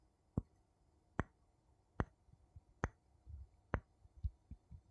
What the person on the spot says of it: 01:12 Two wooden spoons tapping